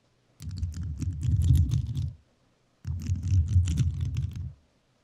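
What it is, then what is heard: Rhinestone-covered microphone tapped with metal nails. A rhinestone-covered microphone is tapped and scratched with metal nails in two bursts of about two seconds each. The sound is a dense, rapid patter of low, muffled clicks and thumps, with silence between the bursts.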